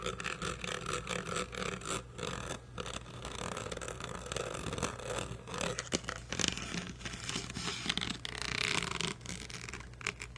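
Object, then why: Plastic toy karaoke microphone with rhinestones and metal mesh grille. A blue bedazzled karaoke microphone, hollow plastic covered in rhinestones with a metal mesh head, is held close to the recording mic while fingernails scratch its grille and rhinestone body. The result is a dense, continuous rasping and scraping texture with bright, crisp edges over a steady low hum.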